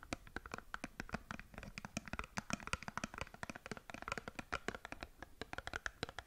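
Long nails scratch and tap a small cardboard skincare box held sideways, giving a quick, uneven run of sharp, dry clicks and brief scrapes. Each tick dies away almost instantly, with a hollow papery tone around 1.3 kHz and a bright edge.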